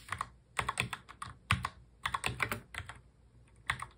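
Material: Plastic.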